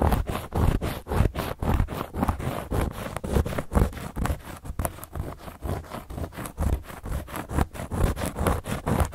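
Long gold metal claw nails scratch a round, flat, solid cork board coaster, producing a quick series of dry, rough scraping strokes. The strokes run about two per second in an uneven rhythm, each one a short burst of low, dull rasp.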